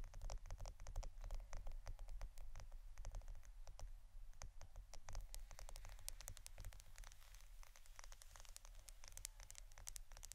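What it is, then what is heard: Roll of adhesive tape, tapped and scratched. A Scotch roll of plastic adhesive tape is tapped and scratched for ASMR, giving a quiet, irregular stream of quick, crisp clicks and scratchy rustles. The sharp, bright taps die away almost instantly over a steady low rumble.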